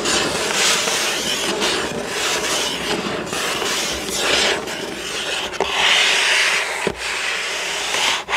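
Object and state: Cardboard box being scratched.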